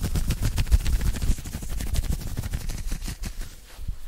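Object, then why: Knit cotton polo shirt. Fingertips and nails scratch aggressively at an open-weave knitted cotton polo shirt worn on the chest and side, close to the microphone. The result is a fast, dense run of short, rough scratching bursts with a heavy, muffled low-end thump and faint bright fabric rasp, easing slightly toward the end.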